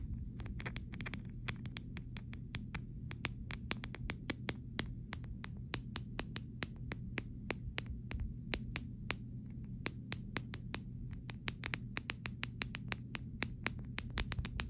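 Short fingernails tap the side rails of a clear plastic phone case in a quick, irregular stream of dozens of sharp, dry clicks. Each click is brief and bright with almost no ring, over a steady low hum.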